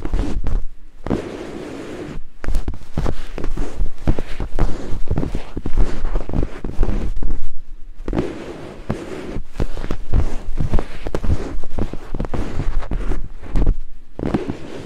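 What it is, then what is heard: Silicone microphone ear scraped with wooden picks. Two thin wooden picks held in fingertips scrape rapidly across white silicone binaural microphone ears. The result is a dense, close, rumbling scratching that is heavy in the low end, coming in fast flurries broken by brief pauses.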